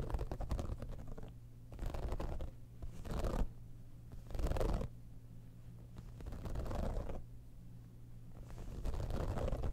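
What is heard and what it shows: Long nails scratch the top of a hollow, embossed, holographic textured faux-leather cosmetic bag, then fingers grip its sides. Bursts of soft, dry scratching and rustling alternate with quieter pauses over a steady low hum, and the sound stays dull and bass-heavy with no bright edge.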